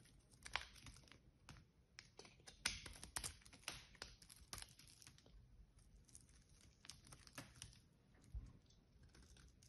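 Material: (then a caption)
Soap. An unwrapped solid green bar of soap is held in the hands and carved or scraped with a small metal blade, shaving off pieces. Quiet, crisp scraping and crackling comes in quick, bright bursts, some sharper than others, against a faint, steady background hiss.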